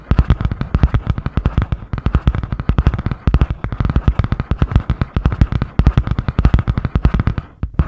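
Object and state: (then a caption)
Spiral notebook with cardboard cover. Long painted nails rapidly tap and scratch the grey butterfly-print cardboard hard cover of a medium spiral-bound notebook held upright. The result is a dense, fast stream of sharp, dry, low-heavy thumps with scratchy texture between them. The strikes keep an irregular rhythm and briefly drop off near the end.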